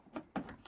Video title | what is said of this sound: Cutting out JUNK Fiberglass in an 80s Powerboat Interior! What Will We Find Underneath?! | yeah it sounds Hollow at least it's looking Hollow